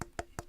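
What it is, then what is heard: Hollow electric guitar body. Three quick knuckle knocks on the wooden body of an electric guitar with a hard tail and a burnt relic finish. Each knock gives a short, hollow wooden tock with a brief tone near 690 Hz. The knocks reveal that the body is hollow inside.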